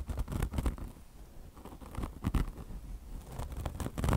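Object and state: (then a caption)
Mesh-covered foam car wash sponge being scratched. Long blue nails on both hands scratch a beige mesh fabric chenille car wash sponge with a polyester mesh top over foam. The result is an irregular, low, rumbling scratching with short bursts of bright, crackly texture. It swells and fades as the nails move across the mesh.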